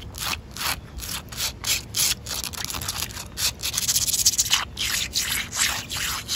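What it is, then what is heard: Wet concrete pavement. Long coral acrylic nails and fingertips scratch and rub across solid, wet, rough outdoor concrete pavement. Bright, hissy rasping strokes repeat in an uneven rhythm, each a short gritty scrape with almost no low end.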